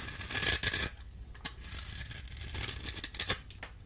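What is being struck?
Bar of soap cut with a small metal blade.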